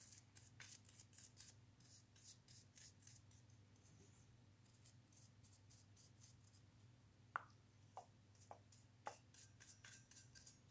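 A bristle brush scrubs along the inner slots and metal springs of an open, hollow white plastic wall switch frame with black inserts, held in a gloved hand. Quick, bright, scratchy brush strokes rasp in bursts over a steady low hum. Later, four sharp ticks stand out from the quiet scrubbing.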